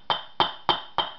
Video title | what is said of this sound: 1986 Ninja 600 Wheel Bearing change | once you hear that real thick thud all the way around